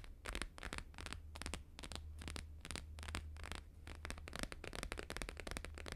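Fingertips and short nails rapidly tap a thin, flat, square sheet of laminated paper with a blue-green holographic grid print, lying on a fur rug. The result is a quick run of crisp, bright, papery taps and scratchy clicks in uneven bursts, over a steady low hum.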